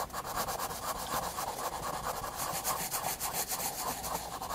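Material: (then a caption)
Paper. A graphite pencil shades the hair and neck of a drawing on the flat white paper page of a spiral sketchbook. The steady, dry rubbing and scratching comes in quick back-and-forth strokes, with a papery midrange rasp and a bright hiss. Nothing else is heard.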